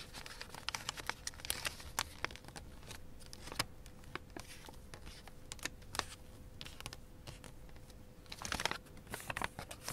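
A sheet of thin light-blue origami paper is folded into a kite shape, with both hands pressing and running fingertips and nails along the creases. Crisp, bright crinkles and sharp ticks come quietly over a faint steady hum, growing busier near the end.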